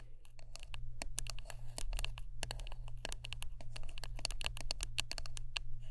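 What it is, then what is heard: Wooden brush. Close-up tapping and scratching on a wooden brush, with many quick, sharp clicks in rapid, irregular succession over a steady low hum. The taps are dry and short, with bright edges and almost no ring.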